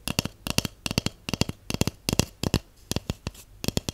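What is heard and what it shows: A large, empty, hollow white cardboard tube held in one hand is tapped with long acrylic nails and shorter natural nails. Quick, dry clicks come in small clusters across the clip, each with a bright nail tick over a short, low hollow thump from the tube that dies away almost at once.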